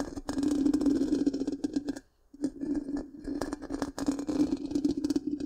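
Long pink-painted nails scratch the hollow, black, round metal mesh grille of a large microphone. The result is a dense, rasping scratch with a steady low-mid hum and bright, crackly edges. It stops briefly about two seconds in, then resumes.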